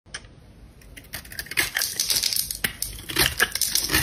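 A metal box-cutter blade scrapes and carves shavings off the edge of a palm-sized, solid red bar of dry soap with a diamond-textured top, held in a hand with long black nails. After a near-silent start with a faint tick, crisp, bright crunching and scraping builds into dense bursts of short, dry cuts. It has very little low end and no ring after each stroke.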